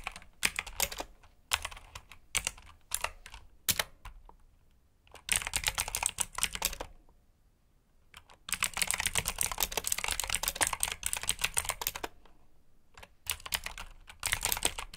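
Fingertips type on a black mechanical keyboard with plastic keycaps, making bright, sharp clicks that come in quick bursts separated by short pauses. A longer, denser run of fast typing fills the middle of the clip before it returns to shorter flurries.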